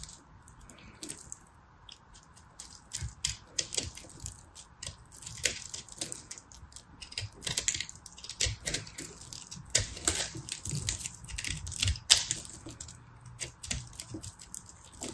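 A solid, pressed multicolor soap ball held in a hand with red nails is carved and scraped with a small knife blade. Rapid, dry, crunchy scrapes and crackles come in a dense, uneven run, bright and crisp with no ring, over a faint steady hum.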